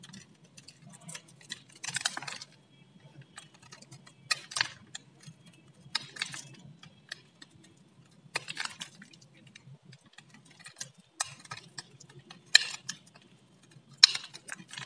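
A metal utility blade carves and scrapes thin strips off a solid, palm-sized, varnished blue bar of dry soap. Crisp, bright scraping and crackling bursts come at irregular intervals with quiet pauses between them, over a faint low hum.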